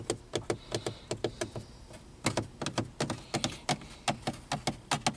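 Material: Plastic.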